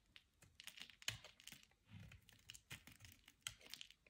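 A utility knife blade scrapes flakes off the edge of a solid, palm-sized white Carex bar soap, soft and dry, held in the hand. A quick, irregular run of crisp, dry scratches and clicks sounds mostly bright and high, with brief low thumps underneath and almost no ring after each stroke.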